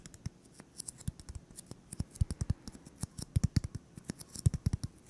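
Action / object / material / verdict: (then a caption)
tap / styrofoam ball / foam / none. A solid white styrofoam (EPS foam) ball about 8 cm across, held in both hands, is tapped and scratched with fingertips and short nails. About 35 quick, dull, low thumps fall in an uneven rhythm, each dying almost instantly, with faint bright scratchy ticks between them.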